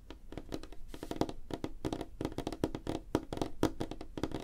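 Fingertips and nails of both hands tap rapidly on a flat, light-colored solid wooden tabletop. The result is a dense run of short, dry knocks with a hollow low-mid tone around 316 Hz, each dying away almost at once. Sharper nail clicks add bright edges.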